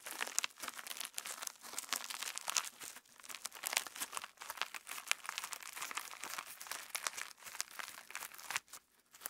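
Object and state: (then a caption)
Sequin slime. Clear slime filled with pink and purple plastic star sequins is pinched, folded and pressed by fingertips up close, giving a dense stream of bright, crisp crinkling and crackling with no low end. The crackles come in quick clustered bursts throughout, briefly quieting near the end before resuming.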